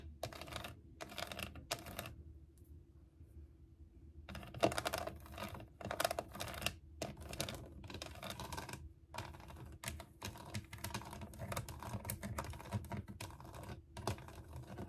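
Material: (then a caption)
Plastic. Long nails tap and scratch the textured body and head of a hollow, ridged plastic unicorn toy case sitting on a desk. Quick bursts of dry, bright clicking and rasping scratches come in dense clusters, broken by a quiet pause early on, over a faint low hum.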